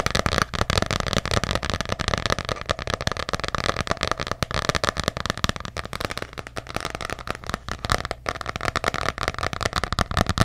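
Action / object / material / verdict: tap / hardcover notebook cover / cardboard / none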